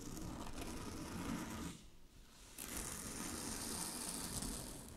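Long glittery fingernails scratch across a large, flat sheet of shiny blue synthetic satin fabric, making a steady, dense scratchy rustle with a bright hiss on top. The scratching drops to a quieter pause just before the two-second mark, then picks up again with a brighter, sharper texture for the rest of the clip.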